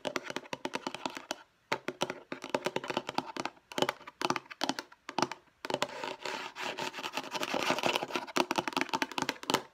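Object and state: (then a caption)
Plastic storage case. Long nails tap quickly on the lid and edges of a light blue hollow plastic storage case. The result is a dense run of sharp, bright clicks, with short pauses between bursts and a thin, hollow plastic tone that stops almost instantly after each tap.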